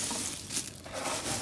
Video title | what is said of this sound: Cách làm Hành Phi giòn ngon không cần phơi nắng . | ได้ยินเสียงก็รู้ว่ากรอบ